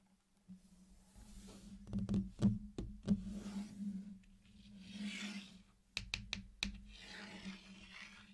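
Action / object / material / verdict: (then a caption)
tap / sugar-shelled chocolate candies / sugar shell / none. Fingertips tap and knock on a flat hexagonal mosaic of small, solid, round, colorful sugar-shelled chocolate candies laid on a dark surface. About eight short, dry knocks stand apart, mostly in two clusters, with soft bright rustling swells in between. A steady low hum runs underneath throughout.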